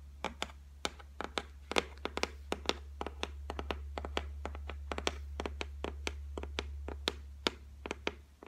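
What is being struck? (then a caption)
Laminated shelf top. Long white nails tap on the flat, solid top of a white laminated shelf, making a quick, irregular series of short, dry clicks with bright edges and almost no ring. A steady low hum runs underneath the whole time.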